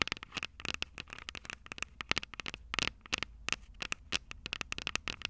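Long purple nails tap the small, hollow, silver metal microphone capsules of a Tascam DR-05 recorder. The result is a rapid, uneven run of sharp, bright clicks with a faint metallic ping near 2.2 kHz, each tap dying away almost instantly.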